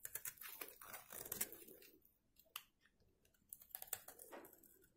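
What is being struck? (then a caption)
Soap bar. A metal box-cutter blade scrapes curls from a carved hollow in the face of a solid, rectangular, dried white soap bar held in one hand. Bursts of dry, bright, crunchy scraping come in quick strokes, with a quieter stretch in the middle broken by one sharp scrape before the scraping picks up again.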